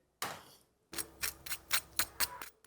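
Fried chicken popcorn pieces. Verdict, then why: Crispy. Crispy peri peri chicken popcorn, fried about ten minutes earlier, gives a run of sharp, bright crunches heard one after another. The crackle stays crisp and high, showing the pieces are still crispy.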